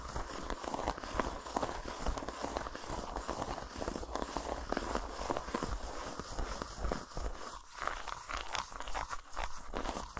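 Fingertips and nails quickly scratch and tap over the surface of a solid, unwrapped dark chocolate bar with a dotted texture, resting on a towel. The result is a dense, steady stream of dry, crackly scratching with rapid soft taps, weighted toward the low end but carrying a thin bright hiss throughout.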